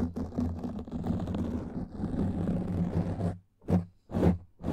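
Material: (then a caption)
Foam. Long nails scratch a black foam microphone windscreen, producing a dense, low, rumbling scrape with a muffled, boomy texture and little high-end. The scratching runs continuously for about three seconds, pauses briefly, then returns as short separate strokes.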